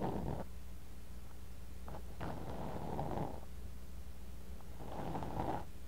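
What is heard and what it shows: A thin bamboo ear pick scrapes and digs into kinetic sand in a clear glass cup, right next to a tiny microphone buried in the sand. Three soft, grainy scraping bursts in the low-mids sit over a steady low hum, with quiet pauses between them.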